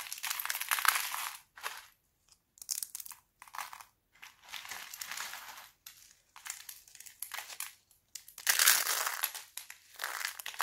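Thin, brittle red and green dried laundry soap plates are crushed in fists and broken by fingers into flakes. Dry, bright crunching and crinkling comes in irregular bursts separated by short silences, with almost no low end. The sharp snaps die away quickly.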